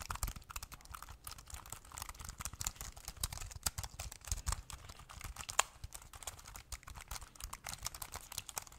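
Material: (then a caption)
Plastic. A small, thin, hollow black plastic Bluetooth keyboard is held in both hands while fingertips and thumbs rapidly press and tap its keys, like typing. The result is a dense, continuous run of short, dry plastic clicks with a low thump under each press and a bright edge on top, with a few sharper, louder taps standing out along the way.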